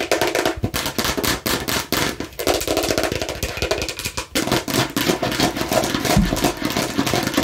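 Fingers aggressively tap and scratch a plastic fake watermelon slice, producing a rapid, dense stream of sharp, bright clicks mixed with raspy scraping across the plastic surface. Each tap decays quickly, with no talking.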